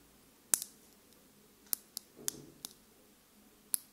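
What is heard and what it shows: A small clear plastic lip gloss tube with pink contents and a silver cap is held in the hands and tapped and scratched with long pink nails close to the microphone. Seven sharp, bright clicks ring out at irregular intervals, with a short soft scratching rustle in the middle. Each tap dies away almost instantly against a quiet background.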